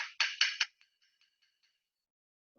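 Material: Glass.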